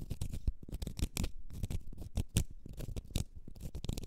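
A small, solid, round cork stopper is scratched with long red nails, giving a quick run of dry, rasping scratches. Each stroke is short, with a dull low body and brief bright edges. The sound is soft and close, with little ring after each stroke.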